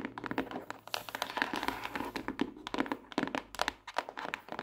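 Long acrylic nails tap and scratch the smooth front cover of a closed pink hardcover notebook, a solid stack of paper, lying flat on a desk. A quick, uneven series of short, dry taps with almost no ring, mixed with brief scratchy brushing. The sound is light and mid-toned with some bright edge and very little low end.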